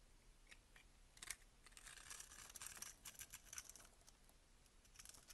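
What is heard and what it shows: A box-cutter blade scrapes small cubes off a solid cream soap bar held in the hand. Quiet, crisp, bright scraping and cutting sounds come in quick, uneven bursts with a faint low rumble beneath. The clip ends with small soap cubes shaved from the bar.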